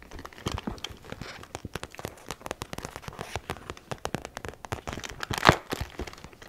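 Long painted acrylic nails tap and scratch across the crinkly surface of a small, soft-sided zippered holographic makeup pouch with a shiny iridescent plastic surface printed with snowflakes, held in one hand and apparently empty. Dozens of quick, dry clicks and crinkly scratches follow one another with no ring, with one sharper, louder tap near the end.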